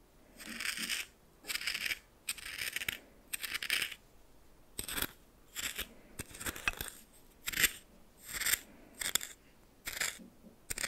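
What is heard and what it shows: A red plastic spoon stirs coarse salt in a small hand-held bowl, making repeated bursts of bright, gritty crunching and scraping. The strokes come at an uneven pace with quiet gaps between them, and almost no low end.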